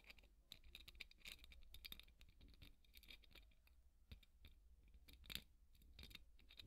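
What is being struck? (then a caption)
Polystyrene foam ball scratched with a bristle brush. A large, white, solid polystyrene foam ball, held in one hand, is scratched with the wooden bristles of a hairbrush. Quick, dense, dry scratching and crackling strokes come in bright bursts over a steady low hum, and each stroke stops almost instantly with no ring.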